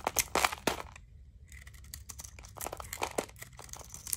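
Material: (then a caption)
Soap. A utility knife blade shaves and scrapes thin, crunchy curls from the surface of a solid, dry blue soap bar held in the palm. Sharp, bright scraping crunches come in irregular bursts, with a brief quiet pause near the one-second mark before lighter scraping and crackling resume.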